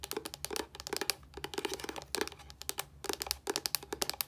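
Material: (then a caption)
Plastic. Long nails tap and scratch a white plastic body wash bottle with a yellow cap, producing rapid bursts of crisp, bright clicks and scratchy crinkles. The taps are dry and die away instantly, with brief lulls between flurries.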